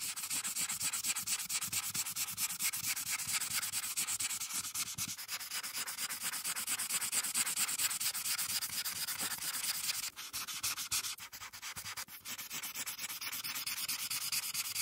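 A felt-tip marker, held with long painted nails near its tip, rubs and scratches across a thin printed paper coloring page lying flat on a dark surface in steady coloring strokes. The sound is a dense, bright, rapid scratching with a quick back-and-forth rhythm. It eases briefly near the ten-second mark before the strokes resume at an even pace.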